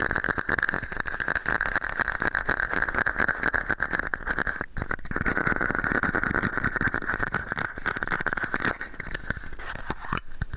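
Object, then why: Small plastic cup. A small, hollow, empty red and white plastic cup held over the microphone is tapped and scratched with fingernails. Rapid, dense clicking taps and scratchy rubbing run throughout, with a hollow resonant ring around 1.6 kHz and bright crackle on top. There are brief pauses near 4.7 and 10.2 seconds.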